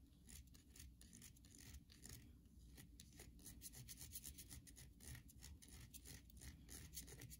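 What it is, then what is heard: Bar soap. Long nails scratch and rub across the flat face of a solid white bar of soap held in the hand. The result is a quiet run of quick, dry, rasping strokes, bright and hissy on top, over a low steady hum.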